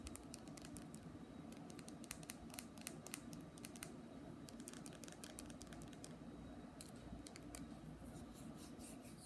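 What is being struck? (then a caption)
Small glass nail polish bottle. A small glass nail polish bottle full of red polish, with a white plastic cap, is held in both hands and tapped with the fingertips and nails. Quiet, quick, irregular clicks and light scratchy taps with bright, short-ringing edges sound over a soft, steady low background.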